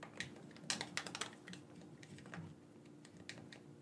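A black corded PlayStation-style gamepad with a hand-sized hollow plastic shell is held in both hands while fingertips and thumbs press and click its buttons and sticks. Quick, irregular, bright plastic clicks and taps come in clusters, each dying away almost instantly over a faint steady low hum.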